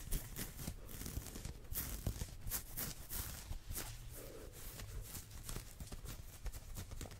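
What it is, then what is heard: Knit sweater sleeve. Fingertips and nails scratch and rub quickly along the sleeve of a worn olive ribbed knit sweater made of soft fabric. The result is a fast, continuous run of dry, bright scratching strokes over a heavy low rustle, with short brushy bursts that fade almost immediately.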